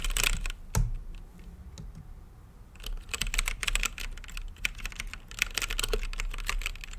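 Fingertips type fast across a full-size mechanical keyboard with plastic keycaps and a hollow, translucent acrylic case lit green. Bright, sharp clacks come in quick bursts with a low thump under them. After a quieter, sparser stretch, the typing turns dense and steady through the end.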